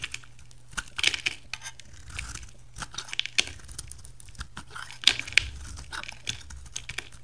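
A utility knife shaves a solid, translucent, bright green oval bar of soap, peeling off thin green curls. Irregular crisp, bright scraping and crackling strokes come with short dry ticks and little ring. The soap gives a papery, tearing texture throughout.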